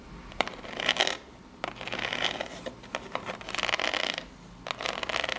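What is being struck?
Small corrugated cardboard box.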